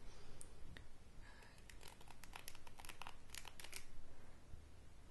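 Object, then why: Wooden hairbrush with stiff bristles. Long grey-painted nails scratch and brush across the dense black and white bristles of a wooden-handled hairbrush held in one hand. The result is a quiet run of crisp, crackly bristle scrapes and flicks that come in irregular bursts over a low, steady background hum.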